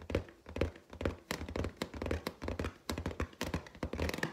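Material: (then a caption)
Latex. Long teal nails tap and scrape along the side of a large, hollow, inflated clear latex balloon with a gold pineapple print. The result is a quick, uneven run of dull, hollow low thunks with short, bright, scratchy ticks layered on top. Each tap dies away almost immediately.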